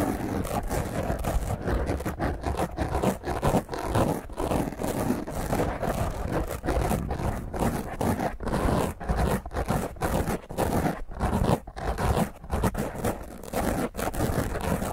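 Long fingernails scratch and claw over the surface of a black foam microphone windscreen. The result is a continuous, rough, low-heavy scraping and rustling with rapid uneven bursts and very little bright top end.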